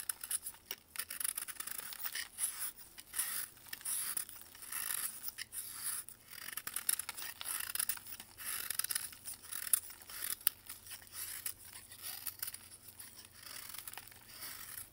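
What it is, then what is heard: Pressed baking soda block scraped with a knife. A metal knife scrapes and carves a solid white pressed baking soda block held in blue gloves, making flakes crumble off. Repeated bright, gritty scraping strokes with fine crumbly crackle run throughout, quiet and dry with almost no low end.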